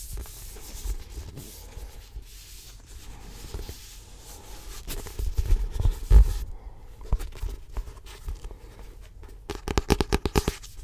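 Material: Paper.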